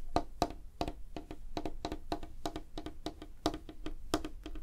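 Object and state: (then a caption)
Wooden tabletop tapped with fingernails. Fingernails of clawed fingers tap quickly on a flat, solid, light wooden tabletop. The rapid, dry clicks each have a short woody knock centered around 700 Hz and die away almost at once, with a low background hum underneath.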